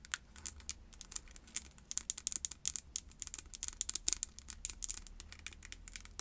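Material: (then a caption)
Plastic. Long acrylic nails tap and scratch quickly on a small white and pink plastic body scrub jar that is likely full. The result is a dense run of sharp, bright clicks and light scratching that ends almost instantly, with very little low end beneath.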